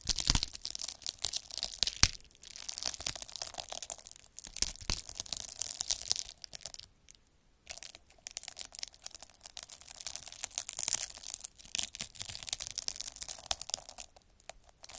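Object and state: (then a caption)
Plastic bubble wrap being crushed. A metal-needle derma roller is rolled across a flat sheet of clear plastic bubble wrap, crushing and pricking its air-filled bubbles. The result is dense, bright crackling and crunching with sharp pops, broken by a brief near-silent pause around the middle before the rolling resumes.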